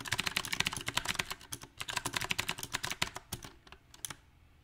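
Fingertips of both hands type on a small 68-key backlit mechanical keyboard with round typewriter-style plastic keycaps on a silver metal plate. About two dozen bright, sharp clacks come in an uneven rhythm with almost no ring. The keystrokes thin out and fade toward the end.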